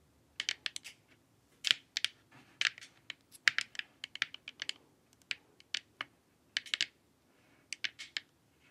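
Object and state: Hollow plastic face mask tapped with nails.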